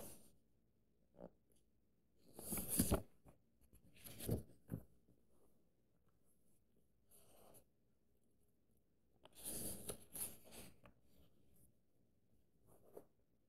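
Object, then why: Paperback book paper pages. An open paperback book is held open with one hand while fingertips and nails trace and scratch over its paper pages. Soft, dry brushing and scratching strokes come in short bursts with bright, hissy edges, separated by quiet pauses in a hushed, close setting.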